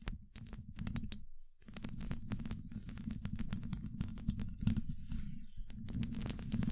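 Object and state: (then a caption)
Metal microphone grille tapped with nails. Long nail tips tap quickly on a hollow, domed steel mesh microphone grille. Each tap is a short, dry, bright click over a heavy, boomy low rumble. The tapping runs almost continuously, with a brief pause near the middle.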